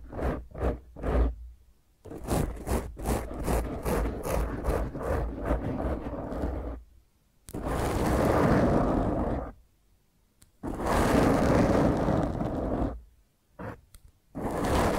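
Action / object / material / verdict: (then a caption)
scrape / foam microphone windscreen / foam / none. Fingertips and long painted nails of both hands scratch and rub the surface of a black round foam microphone windscreen. Three short, separate scratches open the clip, followed by a quick run of rough, rhythmic strokes. Long, continuous, low-heavy rubbing passages then come and go between brief silences.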